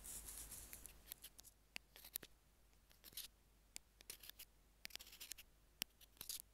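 Metal tweezers tap and scratch along the small white plastic in-line mic remote of Apple earphones as it lies on a jade stone. The sound is a quiet run of sharp, bright clicks and brief dry scrapes, each dying away almost instantly, with a hissy rubbing stretch at the start.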